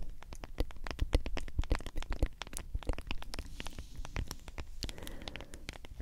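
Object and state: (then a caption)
Plastic powder tub. Long acrylic nails rapidly tap and scratch the printed label and white plastic lid of a medium, hollow plastic G Fuel powder tub that is likely partly full of powder. The result is a dense run of quick, dry clicks and scraping scratches with a low, hollow thump and almost no ring.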